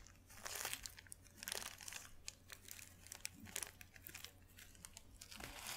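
A thin white paper sheet is folded and crumpled between fingers, giving dense, bright crinkling and crackling bursts that rise and fall over several seconds. A faint, steady low hum sits underneath the whole time.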